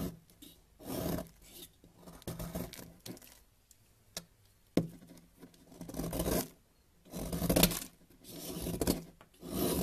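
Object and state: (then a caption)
Bar of soap being shaved. A yellow utility-knife blade repeatedly shaves and scrapes crumbly flakes off a solid white bar of soap held in a hand with teal nails, the flakes gathering on a white surface. Soft, raspy scraping strokes come in uneven bursts with brief sharper scratches between them.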